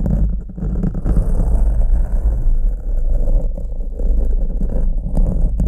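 Two green plastic forks held by the fingertips are scratched and crossed over a black foam microphone windscreen with their tines. The result is a continuous, heavy, low-pitched rumbling scrape with a steady level throughout.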